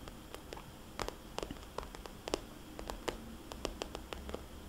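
A small red polka-dot glossy plastic cosmetics bag, hollow and soft-sided, is tapped with long dark-painted nails and fingertips. The result is a quick, irregular series of soft, dry clicks and light patters with bright crisp edges that stop instantly, over a quiet low background hiss.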